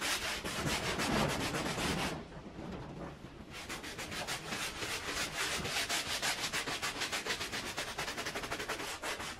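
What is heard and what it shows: A handheld scrub brush scrubs in circles through thick white foam on a faded woven pile rug lying flat. The result is a steady, bright, rhythmic swishing and rubbing, with a brief quieter pause near the two-second mark before the strokes resume in quick, regular passes.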